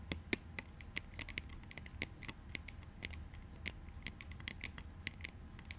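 Plastic clout goggles are tapped and scratched in a quick, irregular run of short, dry clicks. The clicks are bright and crisp and die away almost instantly, over a faint scratchy rustle and a low background rumble.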